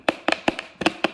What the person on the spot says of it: when you shake it, it's metal up in this bad boy